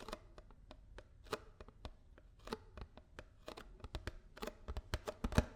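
A paper almond milk carton is tapped with fingers and nails in a quick, uneven series of soft, dry taps. Each tap is a short, hollow, low-heavy knock that dies away almost at once. The last few taps land harder and louder.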